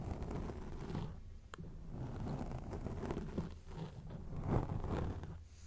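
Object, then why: Foam microphone windscreen. Long acrylic rainbow-painted nails scratch and move over a grey foam windscreen covering a microphone. The result is a steady, low, muffled scratching and rustling texture with soft swells and little bright content.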